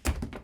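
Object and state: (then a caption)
Foam TPU helmet, soft dull thud. A lightweight 3D-printed Stormtrooper helmet made of soft foaming TPU is dropped and lands with a dull, low thud. Two smaller bounces follow in quick succession instead of a hard crack. The helmet is undamaged.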